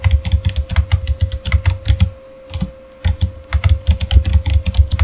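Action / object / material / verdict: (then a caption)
tap / plastic mechanical keyboard / plastic / none. Both hands type with their fingertips on a backlit Razer Fire mechanical keyboard with plastic keycaps, producing rapid, uneven clacky keystrokes with deep thocks and bright clicks. Typing breaks off for about a second in the middle before resuming in quick bursts, over a faint steady hum.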